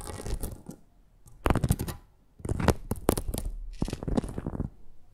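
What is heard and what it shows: Long acrylic nails scratch and tap across a flat red perforated plastic mat with a lattice of holes. Dry, rapid clusters of short clicks and rasping scrapes come in bursts separated by brief quiet pauses, with little ring after each contact.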